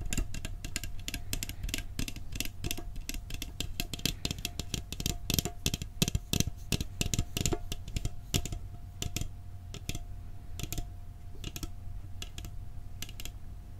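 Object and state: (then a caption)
Metal cookie tin. A metal cookie tin is tapped in a quick, uneven flurry of short, dry clicks that are densest in the first half and thin out toward the end. Each tap dies almost instantly, over a steady low rumble and a faint constant tone near 700 Hz.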